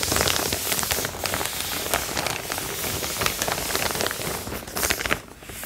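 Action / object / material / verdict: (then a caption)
scrape / cotton canvas tote bag / cotton canvas / none. A large, empty cotton canvas tote bag, held flat, is crinkled, rubbed and scratched with long painted fingernails. This makes a steady, bright, dry crackling and scratching with many quick rasping strokes. The sound thins out briefly near the end.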